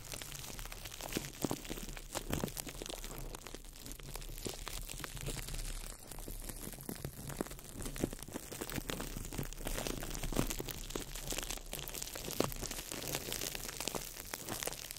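A small ball of crumpled clear plastic wrap is crinkled by fingertips over the mic. It makes a steady, dense crackle of sharp clicks and crinkles that spread from low to bright high tones, with a constant low rumble underneath. The texture stays close and even throughout.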